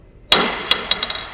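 A steel ball is dropped onto the aluminum table deck of a CNC router, and it lands with a sharp, bright metallic clang. It then bounces several more times with quicker, fainter clinks, five hits in all. The drop leaves a dent in the deck.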